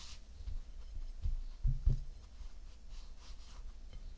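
Bare fingertips and palms pat and rub a round, flattened mound of tan kinetic sand resting on a white ceramic plate. The result is quiet, dull, low thumps with very short decay over a soft bed of faint, brushing rustle.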